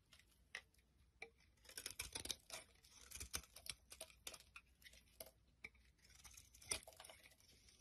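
A utility knife blade carves the edge of a solid green soap bar into flaky shavings. It makes a run of quiet, dry, bright scraping and crackling strokes in quick irregular bursts, with a louder snap near the end.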